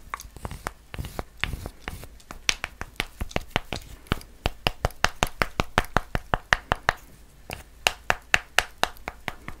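Long nails tap and scratch the surface of a solid white chocolate bar with a triangular pattern, held close to the mic. About 36 short, crisp, dry clicks come in an uneven rhythm, with faint scratching between them and a brief pause before a final burst of taps.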